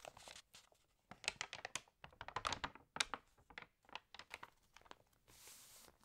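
An open glossy paper magazine, water-damaged, has a page flipped, then fingernails tap and scratch across the spread. The result is a quick run of sharp, bright crinkling ticks and taps. It ends in a steady, soft, high scratching hiss.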